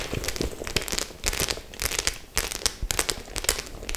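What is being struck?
Studded faux leather clutch bag.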